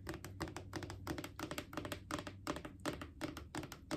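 Long painted fingernails tap on a Clorox disinfecting wipes canister, a hollow plastic cylinder, while it is rotated slightly. The result is a quick, uneven run of light, hollow clicks, each with a short resonant ring around 300 Hz and a bright tick on top, over a soft low hum.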